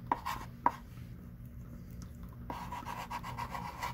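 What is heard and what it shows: A thick stick of pink chalk writes words on a small wooden-framed chalkboard lying flat, tapping dots and drawing strokes. Two sharp taps open the clip, followed by a quieter stretch, then a steady run of dry, scratchy chalk strokes with a faint squeak around 1 kHz.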